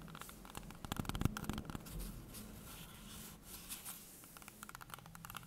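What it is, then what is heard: Green apple tapped and scratched. A small, solid, whole green apple held in hands over a wooden table is tapped and scratched on its skin with long painted nails. Quiet, dry, irregular taps and clicks mix with soft scratching, each sound short with almost no ring. The overall tone is dull and low with brief bright edges on the taps.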